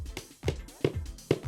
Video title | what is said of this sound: Modular Range Corner Wardrobe Assembly | tap it until the sound changes like that